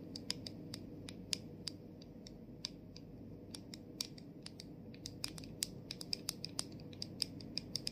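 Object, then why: Plastic spray bottle cap. Long nails tap and scratch the rim and top of the clear plastic cap over the gold sprayer on a tilted plastic body mist bottle. The result is a steady run of sharp, bright clicks with a high ring, each dying away almost instantly, over a faint low hum.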